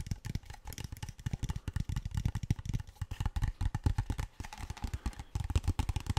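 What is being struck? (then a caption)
Plastic water bottle. A large, clear PET plastic water bottle that appears empty is tapped and scratched with fingertips and nails. The result is a rapid, steady stream of soft, dull taps and crinkly clicks with a hollow low thump and almost no ring. Brief scratchy brightness runs between the taps.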